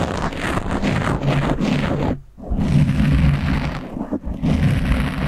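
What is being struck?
Foam microphone windscreen.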